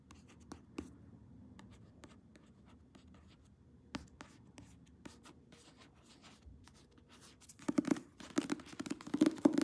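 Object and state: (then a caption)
Paperback book cover. Long nails tap and scratch the glossy card front cover of a paperback novel held upright. Soft, sparse clicks and light scratching run over a faint papery hiss, with a few sharper taps standing out. Near the end, the taps turn into a louder, faster, denser flurry.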